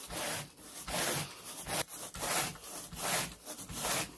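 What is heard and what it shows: A carpet groomer rake with a long wooden handle and a teal plastic head is dragged in repeated raking strokes across wall-to-wall grey pile carpet on a bedroom floor. Each stroke makes a dry, bright, broadband scratching rasp. The strokes come in an uneven rhythm of roughly one per second.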